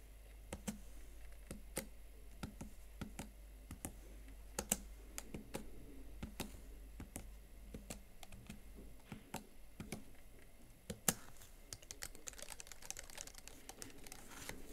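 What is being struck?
Plastic laptop keyboard.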